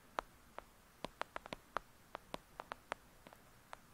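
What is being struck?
Paperback book with paper cover.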